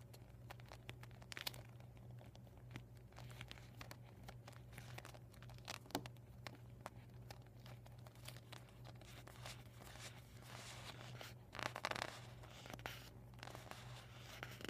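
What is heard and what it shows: Medium painted nails tap and scratch the thin plastic surface of a deflated vinyl beach ball folded flat on a dark table. Quiet, dry crinkles and soft ticking taps come in irregular bursts, with a louder cluster of crackly scratching near the end. A steady low hum runs underneath throughout.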